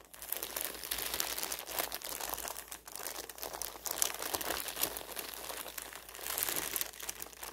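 A large, thin printed paper store flyer lies spread open on a table while fingertips and long-ish nails rub, scratch and crinkle the wrinkled sheet. The result is a continuous, dense, bright crinkling and scratching with almost no low end, swelling and dipping in loudness throughout.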